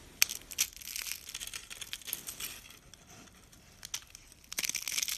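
Thin, brittle flakes and rolled curls of dry purple soap are crushed in the palm and crumbled with fingers on a countertop. The result is bright, crisp crunching and crackling, with sharp snaps early on, a quieter stretch in the middle, and a dense burst of crumbling at the end.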